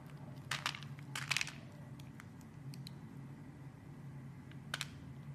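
A metal blade shaves and cuts the surface of a solid yellow soap bar held in hand. Short, crisp, bright scraping crunches come in bursts near the start and again near the end, over a steady low hum.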